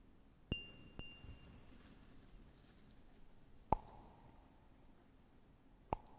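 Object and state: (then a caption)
Cut glass tumbler. A small, empty cut glass tumbler with a textured pattern is held in one hand close to the microphone and tapped with the fingertips and nails of the other hand. Four separate clinks are heard. The first two ring with bright, lingering overtones and the last two sound duller, with a tone around 860 Hz, all over a quiet background.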